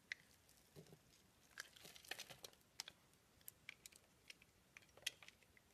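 A blade cuts pieces off the green rim of a round green and pink soap disk and scrapes its pink center. The result is a quiet series of crisp, bright cutting snaps and crumbly scraping. Each click dies away almost instantly, and there is very little low end.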